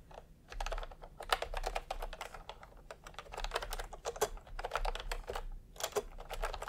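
Fingertips type in continuous, quick taps on a full-size plastic typewriter-style computer keyboard with round retro keycaps in peach and cream, lying on a white cloth. Each keystroke gives a short, dry plastic click centered in the upper mids, with brief pauses between bursts of typing and a faint low hum underneath.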